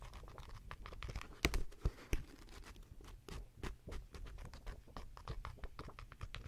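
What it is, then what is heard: Paperback book. Long nails scratch a paperback manga book with paper pages held near the mic, and its pages are riffled and fanned. The result is an irregular, quiet run of dry scratching and papery rustles, punctuated by a few sharp, louder snaps early on.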